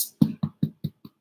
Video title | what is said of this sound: Write Now!!! | it's pretty hollow. I mean, it's good. I think we've done a loaf.